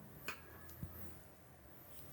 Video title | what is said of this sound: OnePlus 11 5G Indian Unit Unboxing & First Impressions⚡The Return of the King 👑 | थोड़ा अलग आवाज आया, नहीं, एब्सोल्युटली नथिंग